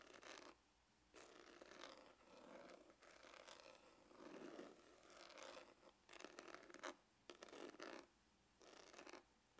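Fingernails scratch the textured top of a dark, hollow faux-leather hard glasses case. Bursts of dry, raspy scraping run bright across the upper range and are split by short quiet pauses.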